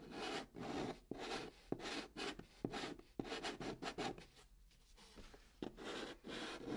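A hand draws chalk along a curved band on the top of a hollow brown cardboard box. Chalk rubbing on cardboard makes a string of dry, gritty scraping strokes with a bright hiss and a hollow low-mid body. A few sharp ticks punctuate the strokes, and there is a quieter stretch near the middle before the rubbing picks back up.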